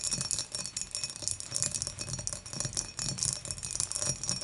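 Long matte nails tap rapidly around the wall and handle of a clear, dimpled, hollow and empty glass beer mug as it is moved upright on a table. The taps form a dense, bright, clicking rattle with very short ring and only a faint low thud beneath.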